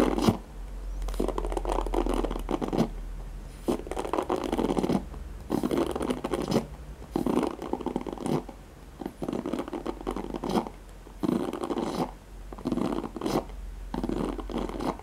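Fingertips and nails scratch across the nylon pin bristles of a handheld black oval plastic paddle hairbrush. The result is a series of dense, scratchy rustling bursts in the low-mid range, separated by brief pauses, over a faint steady low hum.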